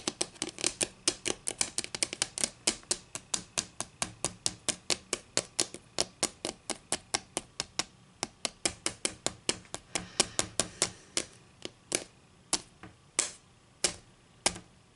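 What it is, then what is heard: Wooden ruler tapped with fingernails. Long green acrylic nails tap rapidly on a solid wooden ruler lying angled on a table, making 59 crisp, dry clicks. Each click is bright and dies away almost instantly. The tapping runs quickly and steadily, then slows into sparser taps with short gaps near the end.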